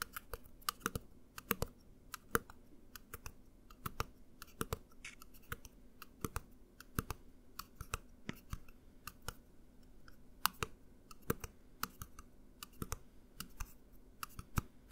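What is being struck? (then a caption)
Plastic bottle with liquid. A plastic mouthwash bottle with liquid inside is held horizontally and tapped with the fingernails on its side and label. The result is a rapid, irregular run of quiet, sharp clicking taps over a low background hum, each tap dying away almost instantly.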